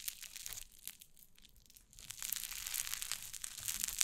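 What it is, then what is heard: Cloud slime being squeezed. White fluffy cloud slime on a wooden table is squeezed and pressed with fingers and long nails, giving a dense, bright crackling and crunching texture with soft squishy pops. The crinkling thins out and quiets briefly in the middle, then returns fuller and louder, with a few sharper high snaps near the end.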